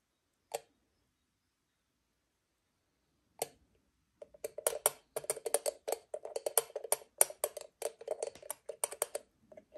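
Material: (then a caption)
Aluminium. An empty, hollow octagonal aluminium moka pot has its lid opened and then closed, heard as two single sharp clicks about three seconds apart. Long nails then tap quickly and unevenly across the faceted lid and rim, making a dense run of short, dry, metallic ticks with a mid-range body and a bright edge that die away almost at once.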